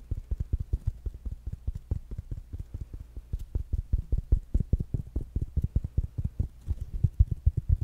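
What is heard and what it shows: A small, round, black smart speaker with a solid plastic body and mesh fabric cover is held in one hand and tapped and scratched with the fingertips and nails of the other. Dozens of quick, dull, low thumps follow one another in a steady rhythm, each dying away almost at once with only faint soft scratching between them.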